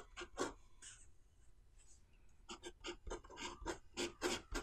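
A pen nib is drawn across an open white paper notebook page, writing lines of Chinese characters with a steady scratching and rubbing sound. Short, bright rasping strokes come in quick bursts, with a quieter stretch of faint scratching in the middle before a denser run of strokes.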